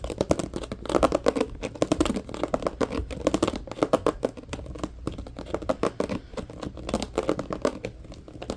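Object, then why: Plastic organizer box. Short nails scratch rapidly across a medium-sized, hollow, empty transparent plastic compartment organizer box held close by. The result is a dense run of dry, crinkly scratches and clicks, mostly in the middle range with brief bright edges. Each stroke dies away almost instantly.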